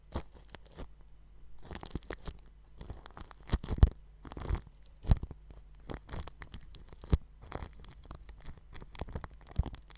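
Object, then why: Plastic cling film stretched over a microphone grille. A paintbrush with a red handle and bristle tip brushes and rubs the metal grille of a round white microphone wrapped tightly in clear plastic cling film. The result is close, scratchy crinkling and swishing strokes that come in irregular bursts, with a few sharper thumps. A steady low hum sits underneath throughout.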